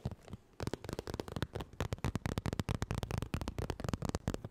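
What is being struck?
Soft vinyl zip makeup bag.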